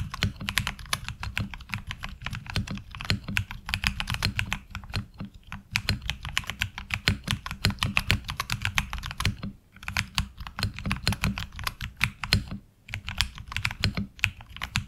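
Fingertip typing on a HyperX Alloy Origins Core mechanical keyboard with ABS keycaps. Rapid, crisp clacks come in bursts with a few short pauses, combining bright key clicks with a deeper thock underneath.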